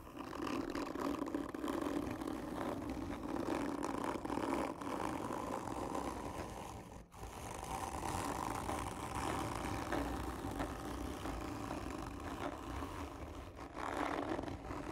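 Long nails scratch slowly and hard across the textured surface of a hollow cardboard tube lying on its side. The result is a steady, rasping scrape with a hollow, mid-low resonance, broken by a brief pause near the middle.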